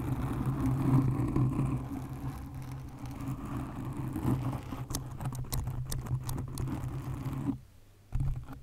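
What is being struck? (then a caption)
Foam microphone windscreen. Long nails gently scratch a black foam windscreen on a condenser microphone, producing a dense, muffled, low rubbing with a steady low hum underneath. Around the middle, sharper bright clicks and scrapes break through. Near the end the sound drops almost to silence for a moment before the scratching resumes.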